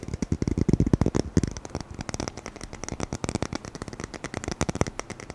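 Fingertips tap and scratch fast on a roll of dark adhesive tape with a red and white printed edge, held in both hands close to the microphone. About thirty quick, dry, dull taps follow one another, heavier and boomier in the first second and a half, with little ring and a faint bright scratchy edge.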